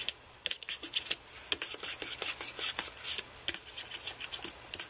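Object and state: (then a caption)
Aluminium and plastic computer keyboard. Fingertips rub and press individual plastic keys on a white aluminium-framed computer keyboard, dabbing them with Blu-Tack. The result is a quick, irregular run of short, bright rubbing scratches and light clicks with almost no low end and no ring.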